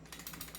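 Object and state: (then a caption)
Loose outer barrel on airsoft pistol. The loose outer barrel of a non-upgraded airsoft 1911 pistol rattles as the pistol is shaken, producing quick, bright clicking taps over a steady low hum. The barrel wobbles because the pistol is not upgraded.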